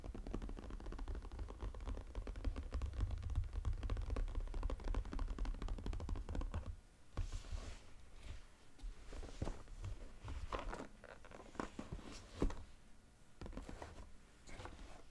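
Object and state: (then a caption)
Cardboard puzzle box. A cardboard sushi jigsaw puzzle box lies flat while the fingertips of both hands tap its lid quickly, making a dense, rapid patter of hollow, low, dull thuds with no ring. After about seven seconds the tapping thins out into quieter, scattered taps and light scratchy brushes, with a few sharper knocks.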